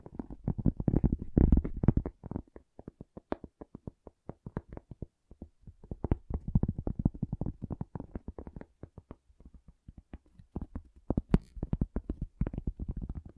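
A cork object is tapped with quick, irregular bursts of soft taps separated by brief pauses. Each tap is dull, low and muffled, dying away almost instantly with no ring and no bright edge.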